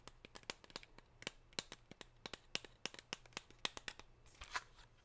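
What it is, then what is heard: Foil-wrapped chocolate bar. A gold foil-wrapped chocolate bar is held in the hand while long pink nails tap and scratch across the gold foil. About two dozen quick, bright, crinkly clicks and scratches sound over five seconds, each dying out almost instantly, over a faint low hum.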